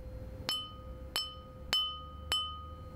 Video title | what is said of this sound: SSM-2 Skate Sharpening Machine - Balancing Sequence | holding the wheel on a finger and gently tapping it listen to the sound this grinding wheel is good